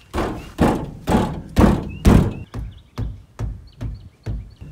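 A van's sliding door, its panels filled with Owens Corning fiberglass batt insulation, is rolled and shut with 11 low thuds: five louder, longer, rattling bangs followed by six shorter, duller knocks. The door sounds very hollow and rattly, like an empty box, even while just rolling, and is judged worse than doors filled with spray foam.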